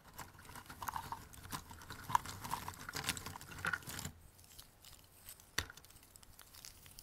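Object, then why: Cardboard jigsaw puzzle pieces in a cardboard box. A pile of small, thin, solid cardboard jigsaw puzzle pieces in a white cardboard box is scooped, rubbed and shuffled by both hands while fingertips tap and drag through it. The result is a dense, dry, rustling clatter of many quick, short clicks. The sound is busier and louder for the first four seconds, then drops to sparser, quieter ticks with one sharp click near the end.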